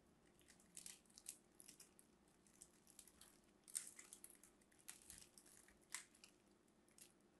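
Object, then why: Bar soap carved with a knife. A craft knife scores lines into a solid pink and white striped bar of soap held in the hand, scratching and carving off crumbling pieces. Quiet, dry, bright scraping crunches come in irregular bursts, with a few sharper cracks standing out over a low steady hum.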